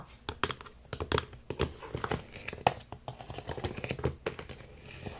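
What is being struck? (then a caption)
Hard plastic toy crocodile puzzle. Fingertips and short nails scratch and tap the ridged top pieces and red tongue of a large, hollow, multicolored hard-plastic crocodile puzzle toy lying on a wooden table. The result is a dense run of quick, dry clicks and taps layered over a crinkly scratching texture, with sharp transients that die away almost at once.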